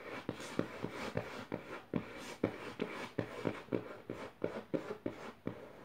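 Long nails rapidly tap and scratch across the dotted paper pages of an open notebook. About fifteen quick, dry taps stand out over a steady, papery scratching rustle. Each tap has a low-mid knock that dies away almost instantly.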